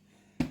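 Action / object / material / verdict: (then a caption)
tap / brown bread loaf / bread / hollow. A baked brown bread loaf, very light, is tapped twice. It gives a short, hollow, low-pitched knock over a faint steady hum, showing the bread is properly cooked through.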